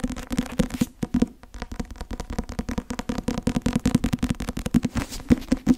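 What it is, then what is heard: Paperback textbook tapped with fingernails. Long nails tap and scratch the glossy cover of a thick, closed, solid white and blue Academia Iuris softcover law textbook. A rapid run of about 29 dull, dry taps with a low body near 240 Hz and almost no high content stops instantly with no ring, while faint scratching fills the gaps.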